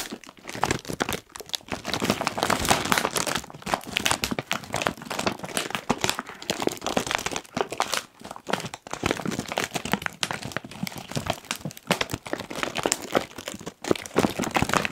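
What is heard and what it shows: A medium-sized Kettle crisps bag of foil-lined plastic, puffed and apparently full, is crinkled and pressed along its sides by the fingertips of both hands. The result is a dense, continuous crackling crinkle with bright, crisp texture, swelling and easing with the pressure and broken by a few brief near-silent gaps.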